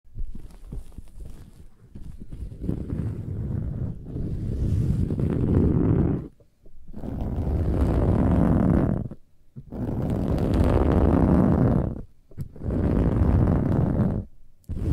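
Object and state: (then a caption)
Metallic woven fabric pillow being scratched. Long nails on both hands scratch fast and aggressively at a large, soft, filled cushion with a silver-gold, textured, burlap-like metallic woven fabric cover. The result is dense, rough, low-heavy scratching in long sustained bursts, separated by brief near-silent pauses.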